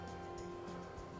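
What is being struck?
Nothing is struck.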